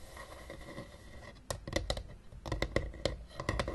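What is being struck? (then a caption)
Hard plastic game case. Long painted nails tap rapidly on the top of a closed, hollow, blue hard-plastic Battleship travel case lying on a table. After about a second and a half of faint low hiss, twelve sharp, dry clicks come in quick irregular bursts, each with a brief hollow plastic knock around 500 Hz that dies almost instantly.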